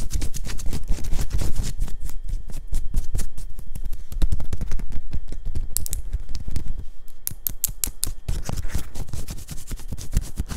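Long pink-and-white nails on both hands scratch rapidly over a worn black cotton t-shirt, moving across its printed bear graphic and the plain fabric. The result is a dense, continuous run of quick, dry scratching strokes with bright crackly texture over a low, muffled rumble, steady in loudness throughout.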